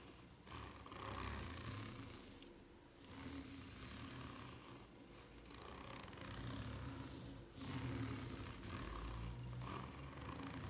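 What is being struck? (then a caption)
Ridged rubber flip-flop sole. Long nails scratch and tap the serrated underside of a white ridged rubber flip-flop sole held at an angle. A dense, rasping scrape with a bright hiss and a low rumble swells and fades in repeated waves throughout.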